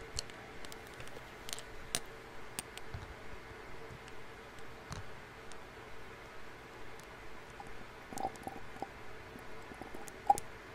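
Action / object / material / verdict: tap / small glass dropper bottle / glass / none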